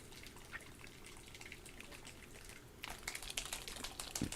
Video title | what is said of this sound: Time to paint: Santa is coming to Avernus? | this paint is thin. I can tell because I can hear it sloshing all about